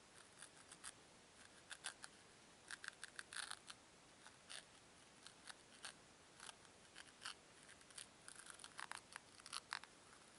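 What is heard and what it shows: Fingertips with long nails twist and rub two small, solid white foam cubes against each other. The result is a quiet run of short, bright squeaking and scratching bursts centred around 1.6 kHz, with almost no low end. Each burst stops instantly.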